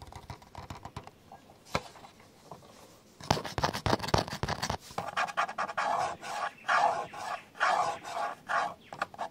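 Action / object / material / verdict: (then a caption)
scrape / plastic camcorder body / plastic / none. Fingertips and nails scratch and rub the top handle area of a Panasonic 4K camcorder with a black plastic housing and top handle, lying on a bed. Sparse light ticks and taps give way after about three seconds to denser, louder scratching. This settles into rhythmic rubbing strokes that swell and fade with a bright, papery texture.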